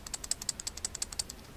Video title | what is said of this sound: Review G-Hit VV de Seego | quand on secoue, il fait un petit peu de bruit.